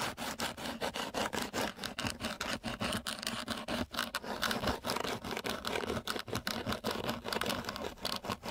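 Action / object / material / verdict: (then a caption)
scrape / coarse sandpaper sheet scraped with a wooden stick / sandpaper / none. The edge of a flat wooden popsicle stick is scraped rapidly back and forth across the surface of a flat sheet of coarse sandpaper. Each stroke gives a gritty, rasping scratch with a bright, hissy edge, running as a steady, slightly uneven rhythm of short strokes throughout.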